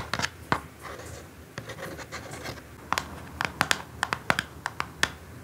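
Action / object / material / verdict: tap / small cardboard box / cardboard / none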